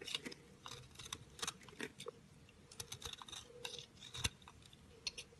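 A round, solid orange-pink speckled soap bar is held in the hand and shaved and scraped with a metal utility knife blade. The result is a quick series of crisp, bright scraping and crackling strokes, with a sharper, louder snap near the end.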